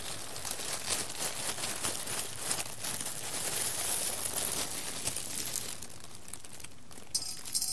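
Fingertips with long red nails grab whole roasted coffee beans and drop them onto the pile and the bottom of a large clear glass bowl. The result is a steady, dense rattle of small bright clicks and crisp, crinkly clatter, with sharper clinks against the glass. The rattling thins out and quiets near the end before a few last sharp clicks.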